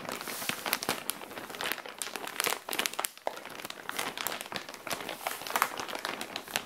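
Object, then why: Thin plastic zip bag with fabric inside. Long dark-painted nails scratch and rub a flat SHEIN zip bag of semi-clear plastic with folded fabric inside, lying on a tile floor. The plastic gives a dense run of bright, dry crinkles and sharp crackling scratches that stop almost instantly, with almost no low end.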